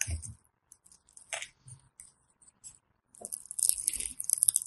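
A thin metal blade scores and scrapes a grid pattern into the surface of a solid rectangular green bar of soap held in the fingers, sending off flakes. Short, crisp, crunchy scratches with a bright, high hiss come in scattered strokes at first, then build into denser, louder scraping toward the end.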